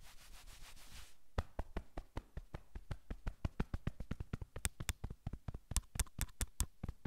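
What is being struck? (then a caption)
Cotton sweatshirt fabric. Flat palms and fingers rub briskly across a navy cotton sweatshirt on a man's back. A steady, soft swishing rub runs for about a second, then gives way to a rapid series of 25 sharp, brief scratchy strokes. Each stroke flicks bright across the fabric over a dull, low-heavy rustle.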